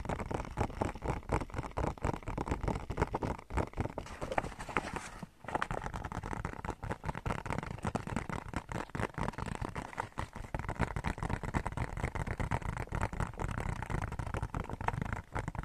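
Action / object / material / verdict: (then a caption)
tap / paper gift bag / paper / none. Fingertips and short nails tap and scratch the flat side of a medium-size, hollow, red glossy paper gift bag with a polka-dot print. A dense, continuous run of quick, dry taps and rustling scratches rings with a low, papery thump, with a brief pause partway through.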